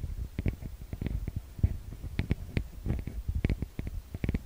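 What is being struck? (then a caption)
Metal mesh microphone grille. Fingertips and long nails tap and scratch the metal-grille microphone capsules of a TASCAM DR-40X recorder. A quick, irregular run of dull, close-up low thumps is heard, some with brief brighter clicks on top. Each tap dies away almost instantly.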